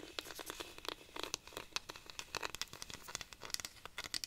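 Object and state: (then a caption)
Wooden cactus rainstick. A hollow wooden cactus rainstick made of dried cactus is held upright while long nails scratch and tap along its ridged wood. The result is a quick, uneven run of crisp, bright clicks and dry scratches over a soft crinkly hiss, with almost no low end. Each tap dies away almost instantly.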